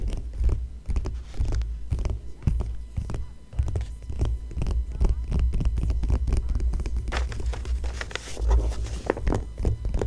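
Long fingernails tap and scratch across an Omega watch ad spread in an open magazine with thin, glossy paper pages lying flat. Quick, dry taps and scratchy strokes follow one another densely, landing as soft, low thuds over a steady low hum, each with almost no ring.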